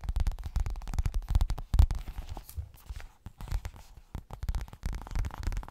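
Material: Coated fabric.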